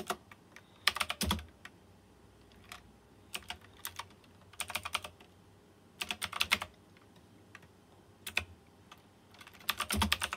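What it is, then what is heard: Mechanical keyboard with round metal-rimmed keycaps. Fingertips type on a white plastic mechanical keyboard with round chrome-rimmed keycaps. Bright, sharp clacks come in quick bursts separated by short pauses, each keystroke dying away almost instantly, with occasional deeper thocks under the louder flurries.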